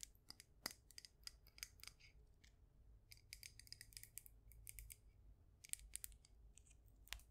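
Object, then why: Glazed ceramic mug filled with soil. A cream glazed ceramic mug with a handle, filled with soil and succulents, is held up and tapped with long nails. Quick, bright clicking taps come in irregular bursts and flurries, each dying away almost instantly with a sharp, high edge over a faint low hum.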